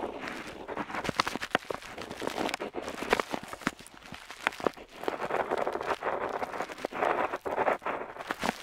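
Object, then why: Metal dip pen nib on a paper sheet. A metal dip pen nib scratches across a flat paper map sheet while drawing a wavy border. The sound is a soft, continuous, papery scratching made of rapid short strokes and small ticks, centered in the mids with little low end and a faint bright edge.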